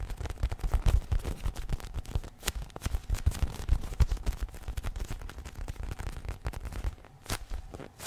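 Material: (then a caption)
Polyurethane foam. Fingertips and nails scratch and tap a small, soft polyurethane foam squishy unicorn toy held close to the microphone. The result is a dense, irregular stream of quick, muffled thumps and brushing scrapes, heavy in low bass with very little brightness. The taps cluster loudest in the first half and then thin out toward the end.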